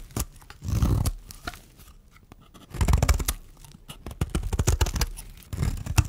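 A metal blade scrapes and shaves the surface of a solid, dry white bar of soap held in the hand. Dry, crunchy scraping comes in uneven bursts, heavy in the low end, with short quieter gaps between strokes.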